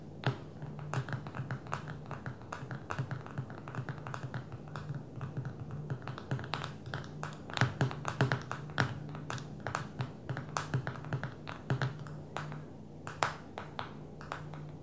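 Long fingernails of both hands tap rapidly on the glass screen of a small black smartphone lying flat on a table. The result is a dense stream of short, sharp clicks with almost no ring, over a steady low hum.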